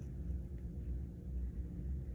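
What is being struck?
Nothing is struck.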